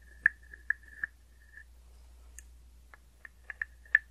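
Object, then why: Small hollow wooden frog guiro tapped with a stick. A small hollow wooden frog guiro resting on an open palm is tapped and scraped with a wooden stick. It gives a series of sharp, dry, hollow knocks, each with a brief woody tone near 1.8 kHz, spaced irregularly with a short pause in the middle. The taps decay almost instantly over a faint, steady low hum.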